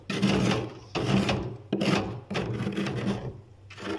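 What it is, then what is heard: Thick frost layer being scraped loose. A metal spoon scrapes a heavy layer of frost ice coating the inside of a freezer, between the wire racks. Repeated rough, rasping strokes swell and fade one after another, with a gritty, full-range texture. Loose frost flakes off as it is scraped.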